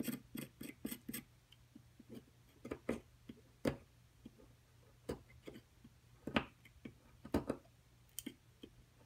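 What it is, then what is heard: Plaster block being chipped. A wooden-handled metal chisel chips and scrapes at a solid plaster excavation block, starting with a quick run of sharp taps and then settling into scattered clicks and short scrapes. Each hit is dry and brief, with a soft low knock under a bright, gritty edge. The whole clip is quiet and close, with a faint steady hum beneath.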